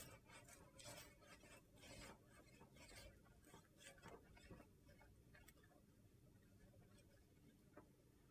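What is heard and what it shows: Fingertips and nails scratch and rub across the rainbow-coloured surface of a large, flat, rectangular slab of solid dyed soap. The result is a series of soft, dry, gritty rasping strokes, each a brief hissy burst with no ringing.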